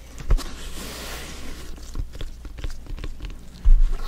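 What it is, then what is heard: Synthetic leather soccer ball. A full-size, blue, stitched synthetic-leather soccer ball, hollow and inflated, is held in both hands and tapped with black-gloved fingertips. The taps are soft, dull, low thumps with light patter between them and almost no ring. A louder tap comes near the start, and a heavier cluster of thuds comes at the end.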